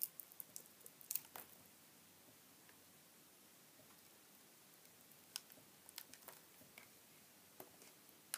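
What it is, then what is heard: Bar soap being carved. A metal utility knife blade shaves and slices curls off the edges of a small solid bar of white soap, carved into a cactus shape, painted green with dark dots and held in one hand. Soft, bright, crisp cuts and scrapes cluster in the first second and a half, then fall to a near-silent pause before scattered sharp clicks return toward the end. Pieces come away and the bar changes shape.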